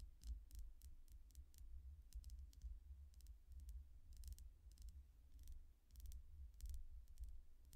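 A long painted fingernail taps steadily on the surface of a small, solid, clear quartz crystal point pendant with colored chakra stones and a chain. Quiet, sharp, bright ticks with very short decay sound over a constant low rumble.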